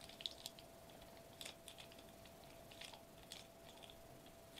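Fingertips and short nails tap and press on a flat silver metallized plastic bubble wrap sheet resting on a white table, possibly crinkling it. Quiet, bright, clicky taps and small crinkles come in scattered bursts, each dying away almost instantly over a faint steady hum.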